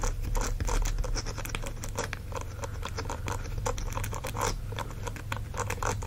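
Fingernails scratch the bristle palm of a green silicone dish-scrubbing glove, making a steady run of quick, crisp scratching strokes. The scratches sit over a low, constant hum.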